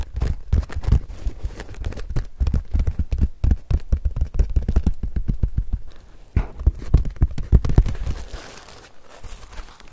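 Fingertips and nails rub and scratch a large woven paper-straw sun hat with a hollow brim, held close to the microphone. A fast, continuous run of dull, low, muffled taps and scrapes fills the clip, with brief quieter gaps and a softer, thinner rustle toward the end.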